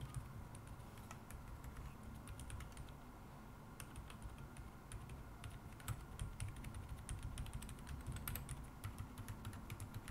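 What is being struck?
Mechanical keyboard with plastic keycaps.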